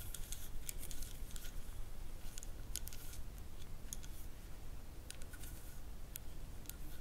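A small, solid, light-colored wooden massage stick with carved ridges is held in both hands while long acrylic nails scratch along its ridges. Quick, dry, bright clicks and scratches come in irregular bursts over a steady low rumble. The sound stays quiet throughout.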